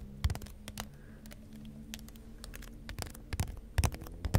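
A long, thin, bright green plastic toy wand, likely hollow and with a sculpted figure at one end, is held horizontally and scratched and tapped along its ridged shaft with fingertips and nails. Short, dry, clicky taps and scratchy rasps come in irregular bursts over a steady low hum. A few sharper taps stand out near the start and toward the end.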